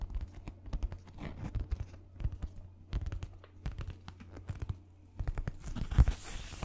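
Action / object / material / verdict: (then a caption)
scrape / sheet of paper / paper / none. A white paper sheet, held in both hands, is tapped and scratched with fingernails close to the microphone. Quick, dry crinkly ticks and scratchy scrapes come in uneven bursts over a steady low hum, with the loudest tap near the end followed by a brief brighter rustle.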